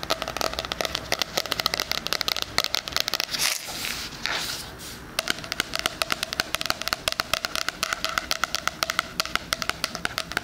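Fingernails rapidly tap and scratch along the cover and edge of a solid, book-like 2020 spiral-bound hardcover planner with a pink floral cardboard cover, held near the mic. The result is a dense stream of sharp, bright, dry clicks with almost no ring. Midway, the tapping briefly gives way to a soft, hissy scratching swish before resuming.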